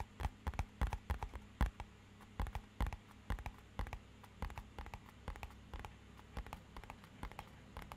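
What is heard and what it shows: A small, rigid, matte-black hollow cardboard box is tapped with fingernails and fingertips in a quick, irregular run of about 34 soft taps. Each tap is a dull, hollow, low thud that dies away almost at once. A faint low hum sits steadily underneath.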